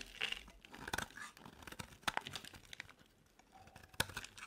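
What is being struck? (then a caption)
Bar of soap scraped with a metal blade. A solid white bar soap held in the palm is carved and scraped with a metal utility knife blade, with chunks breaking off. Dry, crisp scraping and crumbly crunching with bright, sharp cracks come in irregular bursts between quieter stretches.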